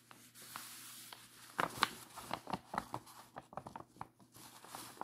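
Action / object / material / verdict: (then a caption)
scrape / thin paper letter / paper / none. Fingertips and a palm rub and smooth across a large, flat, unfolded letter made of thin, aged sheet-music paper, decorated with collaged floral and portrait cutouts and lying on a lace tablecloth. A quiet, steady dry hiss of paper rubbing is broken by a cluster of sharper, brighter crinkles and scratchy brushes in the middle. It then settles into softer, intermittent rustles.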